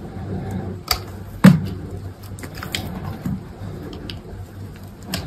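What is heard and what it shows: A solid, dry white soap bar held in the fingers is carved with an orange-handled snap-off utility knife, the blade slicing and scraping chunks off its edges. Soft, low, crumbly scraping runs throughout, broken by sharp dry cutting clicks with brief bright edges, the loudest about halfway through. Each cut dies away almost immediately with no ring.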